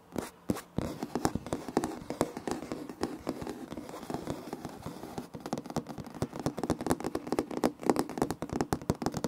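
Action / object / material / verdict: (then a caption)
tap / laminate flooring planks / laminate / none. Fingertips and nails of both hands tap and scratch across a large, flat, solid floor of light wood-grain laminate planks. Quick, dry, crisp taps mix with soft scraping strokes, each hit dying away almost at once. After a few sparse taps at the start, the hits come in a fast, dense stream.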